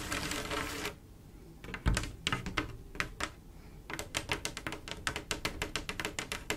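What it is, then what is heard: Glass mosaic tile panel tapped with nails. Long acrylic nail tips scratch across a large, solid, flat glass mosaic tile picture made of silver mirror-like tiles with grout, giving a dense, bright rasp. Scattered sharp clicking taps follow, then a quick, steady run of crisp tapping on the tiles.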